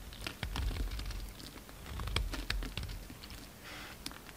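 A utility knife blade shaves thin flakes from the surface of a solid pink soap bar held in hand. Irregular crisp scraping ticks and bright shaving rasps ride over a soft low rumble.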